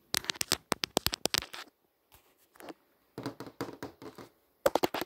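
Long nails on several fingers tap and scratch across the movie tiles of a flat glass touchscreen display. Clusters of sharp, bright clicks with almost no ring alternate with softer scratchy strokes and short pauses, ending in another quick flurry of taps.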